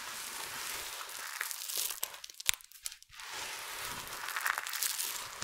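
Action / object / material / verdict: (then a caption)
scrape / pile of soap shavings / soap / none. Fingertips with long nails scrunch, squeeze and rub handfuls from a large heap of small, multicolored dry soap flakes. The result is a dense, bright crinkling crunch with almost no low end, easing into a quieter stretch of sparse, sharp crackles in the middle before the steady crushing returns.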